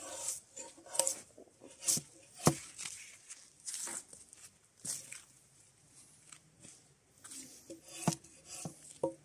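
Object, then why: Spruce log with bark. Gloved hands pull a draw knife along a solid, mostly debarked spruce softwood log resting on a pile, scraping off the remaining bark. Short, dry rasping strokes with bright, crisp edges and sharp snaps come in quick, uneven bursts. A faint low hum sits under the second half.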